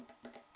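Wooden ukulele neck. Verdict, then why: Less hollow. Light taps further up the neck of a small wooden ukulele give soft, short knocks with a woody tone around 240 Hz. The neck sounds less hollow than the ukulele's body. Four taps are heard, each fading quickly.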